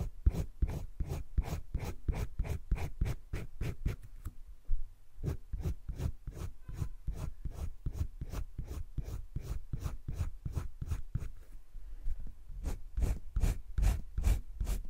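A green colored pencil scratches shading across flat cream drawing paper in a wire-bound spiral sketchbook. Quick, rhythmic back-and-forth strokes repeat steadily with a brief pause near the fourth second, each a short dry rasp with a soft low body.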